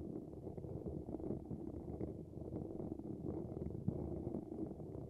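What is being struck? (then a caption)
Metal wire-mesh microphone grille. Fingertips tap and scratch the top of a hollow dynamic microphone grille, a dark mesh cap fitted over a silver wire-mesh grille. The result is a steady, muffled, low-pitched rustling and scraping with dense soft taps, mostly below about 1 kHz and with no bright edge, plus one slightly sharper tap near the end.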